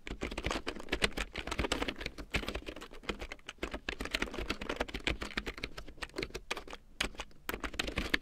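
A full-size large print keyboard with a black plastic frame and big yellow plastic keycaps, lying on faux fur, is typed on with long painted nails and fingertips. A steady stream of quick, dry plastic clicks and taps comes in uneven bursts, each hit short with almost no ring and a bright edge over a soft low thump.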